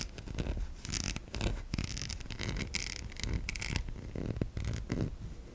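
A solid white oval bar of soap held in the hand is tapped and scratched across its embossed top with long nails. Dry, bright scratching bursts alternate with soft, low tapping, each sound short with no ring.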